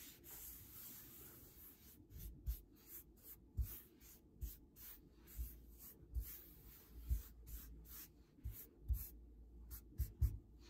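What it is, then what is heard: Wooden table rubbed with knit sleeves. Both forearms in grey knit sweater sleeves, hands partly covered by the cuffs, rub the fabric back and forth across a large solid varnished wooden tabletop. Soft, dry brushing swishes carry a faint bright hiss over a low thudding body, rising and falling in about thirteen quick strokes.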